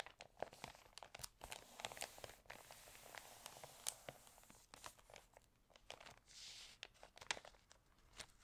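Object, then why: Glossy paper magazine pages. Hands rub the glossy, crinkled pages of an open, water-damaged paper home magazine and flip a page. The result is quiet, dry crinkling and crackling made of many sharp, bright snaps and rustles, with a brief smoother swish near the end.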